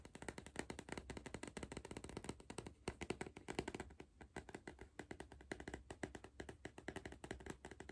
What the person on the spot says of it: ASMR Tapping on a crisp tube